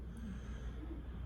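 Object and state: Nothing is struck.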